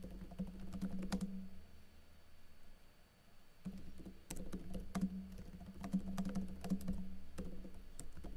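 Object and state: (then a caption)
Plastic laptop keyboard being typed on. Fingers with blue-painted nails type on a plastic backlit laptop keyboard with plastic keycaps, producing bursts of quick, irregular clicky taps over a steady low hum. The typing pauses briefly in the middle before resuming at a brisk, uneven pace.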